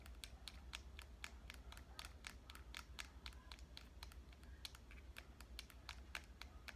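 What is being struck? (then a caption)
Compact digital camera, metal and plastic body. Fingernails tap rapidly and steadily on the back and edges of a small, hollow red compact digital camera with a metal and plastic body. Each tap is a sharp, bright click that dies away almost at once, heard over a constant low hum.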